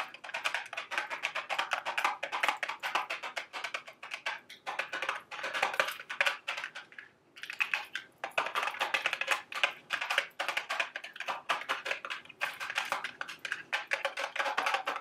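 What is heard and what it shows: A small, hollow, printed cardboard candy box shaped like a milk carton is held up in the hand and tapped rapidly with long, sharp acrylic nails. The result is a dense stream of crisp, dry clicks centered in the mids and bright highs, with almost no low end. A brief pause comes near the seven-second mark.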